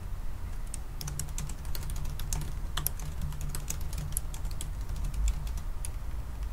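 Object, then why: Laptop keyboard, plastic keys in aluminium body. Both hands type fast with their fingertips on a silver aluminium laptop's black plastic keys. A quick, uneven stream of light, bright clicks and taps rises over a steady low hum, each tap short and dry with no ring.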